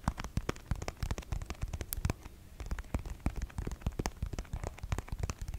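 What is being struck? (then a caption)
Plastic squeeze tube. Long nails scratch and tap rapidly on a pink, hand-sized dae brand plastic cosmetic squeeze tube that appears full, held close to the microphone. The result is a dense run of short, dry clicks and crackles over soft low thumps, with each tap dying away almost instantly.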